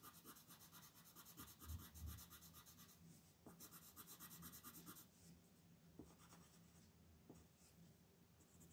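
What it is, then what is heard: Pencil coloring on paper. A blue wooden colored pencil is worked in short, repeated back-and-forth strokes across a thin printed paper coloring page lying flat on a dark wooden table, held down with one hand. The pencil produces a soft, steady rhythmic rubbing and scratching with bright, hissy bursts on each stroke. The strokes are fuller for the first five seconds, then continue more quietly with a few sharper scratches.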